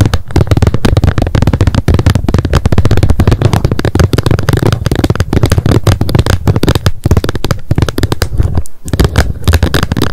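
Long nails rapidly tap and scratch the plastic lid of a wet wipes pack lying flat on a mat. The result is a dense, continuous stream of short, dull clicks and scrapes, heavy in low tones with almost no high brightness, with only a brief pause near the end.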